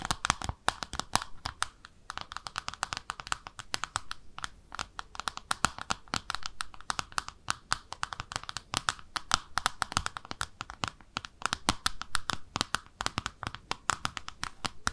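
Long nails tap and scratch the underside of a small pink speckled ceramic bathtub-shaped soap dish with drainage holes, held in both hands. A steady stream of quick, dry, bright clicks and scratchy strokes runs throughout, each tap dying almost instantly with a faint tone around 1.3 kHz.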